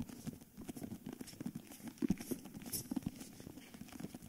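Fingertips tap and scratch the paper-covered cardboard cover of a cream hardcover book while the book is tilted and moved. Quick, dull taps with a low-mid body thud in rapid, irregular succession, mixed with soft scratchy rustling. Each tap dies away almost instantly.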